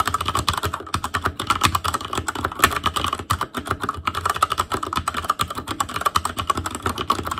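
Fingertips of both hands type continuously on an ASUS ROG Claymore Core mechanical keyboard with Cherry MX Red switches, black plastic keycaps on a metal frame, and a hollow housing with RGB backlight. The result is a rapid, steady stream of short, dry plastic clacks centered around 1.1 kHz, with a light low thump under each keystroke and very little ring.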